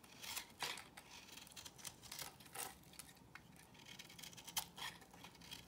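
A box cutter blade cuts and scrapes pieces off a solid, square, beige bar of soap held in the hand. The sound is quiet, crisp, bright scraping with sharp crackling ticks and short bursts, and almost no low end. Each scrape dies away almost at once.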